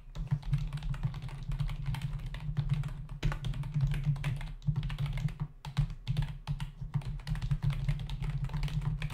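Fingertips of both hands type fast on a full-size black plastic membrane computer keyboard with hollow keys resting on a desk. Rapid, dense clacking taps ring out over a steady low hum, with brief pauses in the typing along the way.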